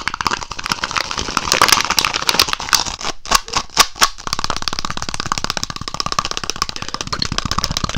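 A small, empty, hollow, ribbed, thin white plastic cup is held close to a red foam microphone, squeezed and crinkled with the fingers, then held in one hand and tapped or flicked with the fingertips of the other. A dense, fast run of bright crackling clicks and taps fills the clip, with a few louder sharp pops near the middle and a faint hollow tone around 1.2 kHz. It ends in steady, rapid tapping.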